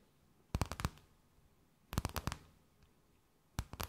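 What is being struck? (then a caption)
Thin plastic bag. A thin, empty, clear plastic bag held between both hands is tapped, scratched and crinkled with long nails. Three short bursts of quick, dry crackling taps ring bright and then stop abruptly, separated by near-silence.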